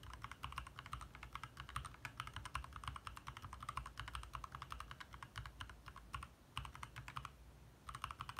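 Fingertips of both hands type rapidly on a compact backlit 60% mechanical keyboard with plastic keycaps, resting on a desk in the dark, tapping and pressing the keys. A dense stream of short, sharp plastic clicks centred around 1 kHz sits over a low, steady hum. The typing eases into a brief lull near the seven-second mark before picking up again at the end.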